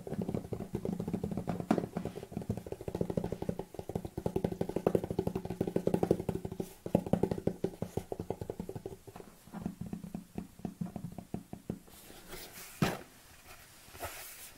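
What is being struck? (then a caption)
Large plastic tub with lid. Long nails tap rapidly on the rim of the lid and the side of a large white plastic protein tub, producing dense, hollow, low-pitched clicks. The tapping thins out in the last few seconds into sparser taps, with one louder tap near the end.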